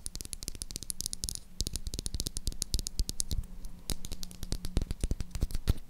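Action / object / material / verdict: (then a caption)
tap / bar of soap tapped with fingernails / soap / none. Long acrylic nails tap and scratch on a hand-sized, light blue solid bar of Dove soap. The result is a rapid, continuous stream of short, dry clicks with crisp high-frequency edges over soft low thuds, interspersed with brief scratchy rasps. A faint steady low hum sits underneath throughout.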